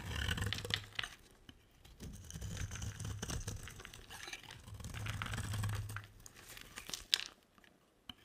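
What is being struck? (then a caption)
Bar of soap cut with a knife blade. A utility knife blade carves and scrapes shavings from a solid, dry orange bar of soap held in the hand. Repeated crisp, crunchy scraping strokes carry bright grit over a low rumble, with sharp clicks and quieter pauses between passes.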